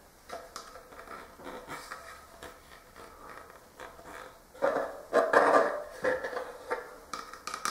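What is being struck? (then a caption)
Clear plastic jar with plastic screw lid. The black plastic screw lid of a hollow, clear plastic Talenti ice cream jar is taken off and put back on, then its top is tapped with fingertips and short nails. Light, irregular hollow plastic taps and scrapes ring briefly in the midrange, with a louder burst of handling partway through.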